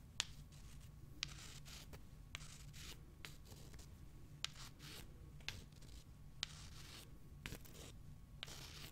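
Long fingernails scratch the rough surface of small, solid, pale limestone rocks held in the fingers, and the rocks are rubbed together. Bright, dry scratching bursts sit over a steady low rumble, broken by nine sharp, short clicks spaced through the clip.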